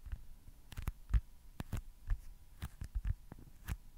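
A small, solid, white foam baseball stress ball is tapped with fingertips and nails. About a dozen soft, dull, low thuds land at an uneven pace, each dying away almost at once. A faint steady hum sits underneath.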